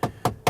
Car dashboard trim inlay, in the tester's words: this inlay here seems a bit hollow if I tap it, and so does this